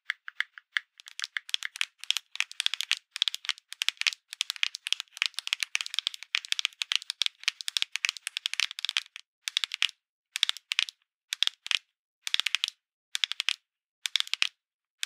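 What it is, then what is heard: Cardboard medicine box tapped and scratched. A small red printed cardboard Tylenol box is held in both hands and tapped and scratched with long acrylic nails. The result is rapid, bright, dry clicks and scratchy crinkles with almost no low end and no ring. They come in dense bursts for the first nine seconds, then in shorter clusters separated by silent gaps.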